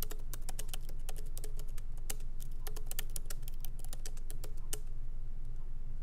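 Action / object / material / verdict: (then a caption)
tap / laptop keyboard, plastic keys in metal body / plastic / none. Both hands type continuously with their fingertips on a MacBook Pro keyboard with low-profile plastic keys set in a solid aluminum body. Quick, short, bright clicks arrive at an uneven typing rhythm over a steady low hum.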